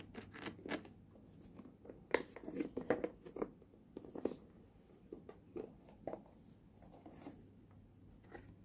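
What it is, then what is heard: Metal tin box. A fingertip and fingernail tap and scratch the lid of a small, hollow, red printed Universal Studios Singapore tin box held in the hand. Light, dry metallic taps and brief scratching strokes come in an irregular series over a faint steady low hum.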